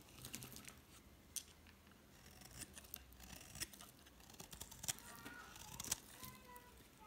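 A utility knife blade scrapes and cuts shallow ridges into a solid green bar of soap held in the hand, leaving curling flakes on the surface. Soft, irregular crisp scrapes and sharp clicks with bright high-frequency hiss repeat throughout, with a few faint tonal squeaks near the end.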